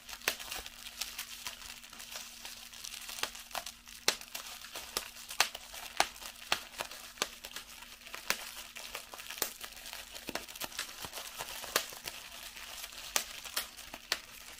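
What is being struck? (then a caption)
Plastic bubble wrap. A small piece of clear plastic bubble wrap is held in both hands while fingers with long yellow-painted nails squeeze and pop the bubbles, a larger sheet of bubble wrap lying on the table. Sharp, bright pops ring out irregularly over a continuous soft crinkling of the plastic, with a faint steady low hum underneath.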